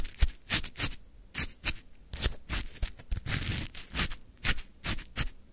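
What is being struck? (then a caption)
Frozen shaved ice in a plastic cup, scraped with a wooden stick. A wooden stick scrapes and digs into a full plastic cup of crunchy frozen lemon shaved ice, close up. Quick, dry crunching scrapes repeat in bright bursts with a low thump beneath each, separated by short quiet gaps, and one longer grinding scrape comes in the middle.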